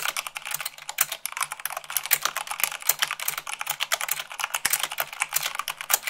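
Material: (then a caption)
Plastic. Long acrylic nails type rapidly, about 98 words per minute, on a full-size mechanical keyboard with white plastic keycaps on a black base. Dozens of sharp, bright plastic clicks and clacks tumble out in a dense, uneven stream. Each tap dies away almost instantly, with virtually no low end.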